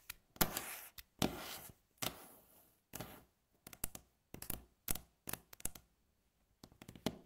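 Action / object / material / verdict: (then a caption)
tap / wooden tabletop tapped and scratched with fingernails / wood / none. Long natural fingernails tap quickly on a flat, solid, light-coloured wooden tabletop. Longer rasping passages alternate with clusters of short, dry, bright clicks that carry a low woody thud. The rhythm is irregular and each tap dies away almost at once.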